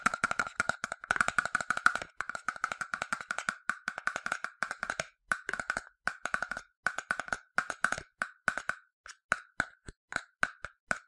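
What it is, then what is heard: Plastic sunscreen bottle. Fingertips and a translucent plastic cap tap the body of a medium-sized, yellow, hollow plastic sunscreen bottle. The tapping is a rapid string of short, dry, hollow clicks with a woodblock-like tone around 1.4 kHz. The clicks are dense and fast at first, then slow and spread out toward the end.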